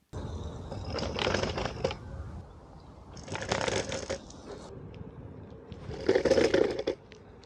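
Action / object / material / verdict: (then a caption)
shake / electric scooter frame and folding mechanism / metal / loose. An AOVO OOK-TEK V8 electric scooter with its folding mechanism just tightened is ridden over cobblestones, and bursts of loose metallic rattling rise and fall in three main waves over a steady low rumble. The rattle is still bad after the adjustment, with something loose still rattling inside that is not the controller or the battery.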